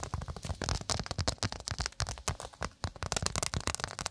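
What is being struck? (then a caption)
Cork trivet. Long acrylic nails rapidly tap and scratch a round, flat, thin solid cork pot stand held close in front of the microphone. A fast, uneven run of dull, crackly taps with low thumps and bright scratchy edges, each dying away almost instantly.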